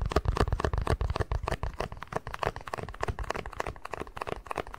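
An empty, small, hollow white plastic cup is tapped and scratched on its sides and base with fingertips and nails. Rapid, irregular dry taps and crinkly scratches follow one another closely, each dying away almost instantly. The sound is weighted toward low, hollow thumps, with little high brightness.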